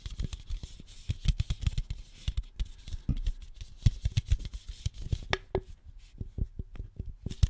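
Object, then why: Aluminum soda can. Long nails tap and scratch the side and top rim of a single hollow, upright red aluminum soda can. The result is a rapid, dense string of dull, low, tight clicks mixed with brief scratchy brushes, and a few later taps give off a short hollow metallic ping.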